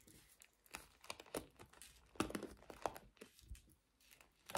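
Long nails scratch across the black bristles and the body of a small pink plastic paddle hairbrush. The result is a quiet, rapid series of crisp, dry scratching and crinkling bursts with bright, short edges that die away almost at once.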